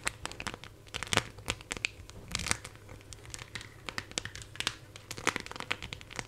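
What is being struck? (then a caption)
Phone in a clear plastic case with raised decorations. A smartphone in a clear plastic case with raised silver heart and charm decorations is held in both hands close to the mic while long nails tap and scratch over the case surface and its embellishments. Rapid, bright clicks and crinkly scratches come in quick irregular bursts, each dying away almost instantly.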